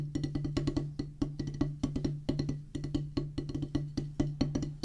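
A solid oval drum practice pad with a black rubber top on a pressboard/wood base is drummed with wooden drumsticks in a quick, steady pattern of about 31 strokes. Each stroke is a short, dry, woody tap with a low, dull body and very little brightness, dying away almost at once.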